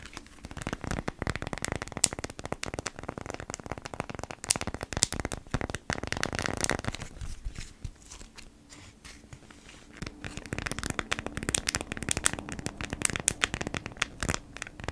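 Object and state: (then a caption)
Beeswax-coated cotton food wrap. A folded beeswax-coated cotton food wrap is held in hands while long nails tap and scratch across it. Dense, bright crinkling and crackling fill the clip with sharp, quick-decaying clicks. A quieter, sparser stretch in the middle gives way to busier, louder tapping toward the end.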